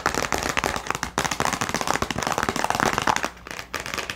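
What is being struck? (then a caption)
Small clear plastic box with latch. A small, hollow clear plastic storage box with a latch, partly filled with a pen and labels, is tapped and scratched with long nails. Quick, dense clicky taps and scratchy rasps run almost without pause, with a light hollow plastic tone around 855 Hz. Each tap dies away almost instantly, and there is a brief quieter stretch just before the end.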